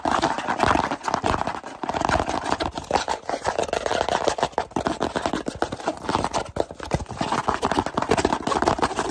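A small, hollow kraft cardboard box is held in both hands while fingertips tap rapidly on its sides and edges. The result is a dense, continuous patter of short, dry, hollow taps centred in the mid range around 1 kHz, with almost no ring and little low or high content.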